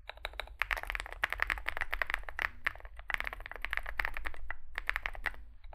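Fingertips type continuously on a Zoom65, a small 65% mechanical keyboard with a dark case and white and grey SA plastic keycaps. A rapid, steady stream of short, crisp, clacky key presses has a bright midrange snap and very little ring. A faint low hum runs underneath.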